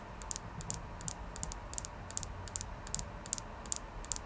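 A clear quartz crystal is tapped in a steady rhythm, giving 23 rapid, light, bright clicks that often come in close pairs. Each tap is sharp and dies away almost instantly over a faint low hum.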